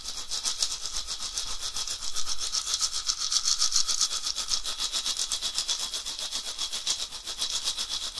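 A hollow, carved, dried gourd rattle with a wooden handle is swung and shaken side to side in one hand over a red cloth. It gives a continuous, bright, hissing rattle, pulsing at a quick, slightly uneven pace of about four shakes per second. The rattling swells and fades slightly throughout.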